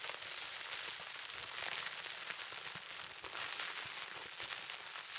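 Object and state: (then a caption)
Plastic bubble wrap. A small wad of clear plastic bubble wrap with hollow air bubbles is held in both hands and squeezed and crinkled with the fingertips, popping bubbles. A steady, dense, bright crackle of snaps and crinkles runs through the whole clip at an even level, with almost no low end.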